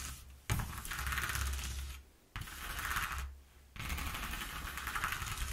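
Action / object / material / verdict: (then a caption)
scrape / corrugated cardboard sheet / cardboard / none. Long nails scratch and tap across the exposed ridges of a slightly torn, single-face corrugated cardboard sheet. Three dense, raspy scratching passes are heard, each separated by a brief near-silent gap. A steady low rumble sits underneath the bright, crackly texture.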